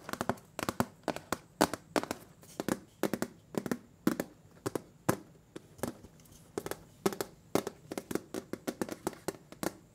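Fingernails tap and scratch the bare, ridged metal bottom of a large round butter cookie tin turned upside down. A steady, uneven run of short, dry, tinny clicks sounds, each dying away almost at once, with soft scraping between the taps.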